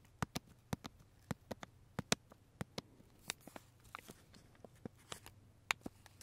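Fingertips and nails tap and scratch the clear plastic wrapper of a large single labeled macaron held in both hands. Sharp, dry clicks with quick bright crinkles scatter irregularly over a low, quiet hum.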